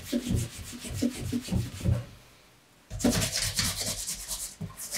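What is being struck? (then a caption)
Pebbled leather shoe upper. A bare hand rubs the upper of a dark brown pebbled leather Allen Edmonds MacNeil wingtip shoe for Brooks Brothers, fitted with a shoe tree, first as it rests on a table and then as it is held up. Soft, rhythmic rubbing strokes give low, muffled thumps with a light hiss, then fade to near silence for a moment. The rubbing resumes louder and brighter, with a stronger scratchy hiss.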